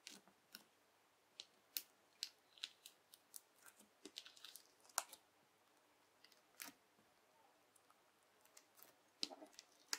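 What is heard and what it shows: A yellow plastic knife presses into, cuts and rolls up a flat strip of clear, translucent teal slime full of small bubbles on a white table, with fingertips holding it. About twenty quick, crisp snaps and crackles pop out of the bubbles, bright and dry with no low end and almost no ring. Brief quiet gaps separate them.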